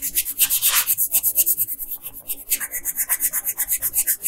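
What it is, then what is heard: Colored pencil on paper. A yellow wooden colored pencil is rubbed in quick back-and-forth strokes along the hair on the right side of a flat paper coloring page. It makes a bright, high scratchy rasp in 22 rhythmic strokes, with a brief pause near the middle.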